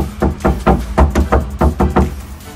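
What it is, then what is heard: Undamped steel car roof panel, loud. Nine knocks on a section of a steel sheet-metal car roof panel without sound deadener, knocked for comparison with the section where deadener is installed. Each knock gives a loud, low, booming thud centered around 70 Hz with a short ring. The undamped panel is loud, as it would be in heavy rain.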